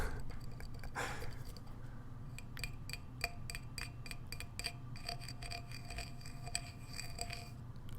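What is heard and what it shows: A coffee mug marked "Camelback Forage" on its bottom is tapped and handled, producing quick, bright clinks with short ring over a low background rumble. Many light taps come close together through the clip, and the mug is called a pretty nice coffee mug.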